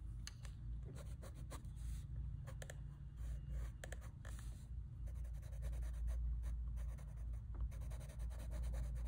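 A hand draws and shades on a large, flat sheet of drawing paper holding a colored sketch, using the tip of a light blue wooden colored pencil. The lead makes soft, irregular scratching and rubbing strokes, with brief bright scrapes over a steady low hum.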